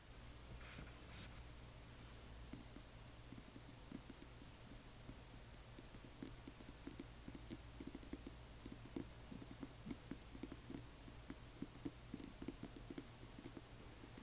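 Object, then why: Small glass dropper bottle. Long manicured nails tap and scratch a small, hollow, frosted amber glass dropper bottle with a white dropper cap and paper label, holding liquid and standing upright. Quiet, rapid, irregular clicks sound over a steady low hum, with faint bright, high glassy pings on the sharper taps. Each tap stops almost at once.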